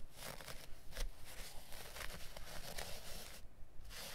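Fingertips and nails scratch and rub the pile of a small piece of dark looped-pile carpet lying on a cutting mat. Quick, uneven strokes make bright, papery rasping bursts over a steady low rumble.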